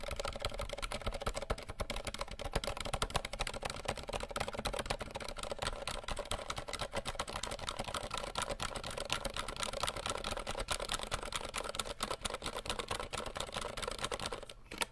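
Fingertips rapidly tap the plastic keycaps of a compact 60% RGB mechanical keyboard, producing a dense, continuous stream of short, dry clicks and clacks with almost no ring between strokes. The clatter stays steady throughout and briefly thins just before the end.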